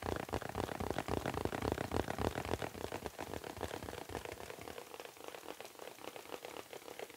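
Fingertips tap and scratch a small, round, printed foil (mylar) "Happy Birthday" balloon on a stick, hollow and air-filled, held in both hands. The result is a dense, rapid patter of crinkly taps with a hollow midrange body, sounding much like rain on a surface. It is loudest over the first three seconds, then settles into a softer, thinner scratching.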